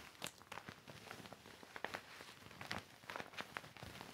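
A deflated, hollow silver and clear vinyl inflatable mat with colored stripes, lying flat on carpet, is wiped and rubbed with a yellow microfiber cloth held in the hand. Quiet, bright plastic crinkles and short crackling ticks sound over a soft, steady rubbing hiss, with a few sharper snaps standing out.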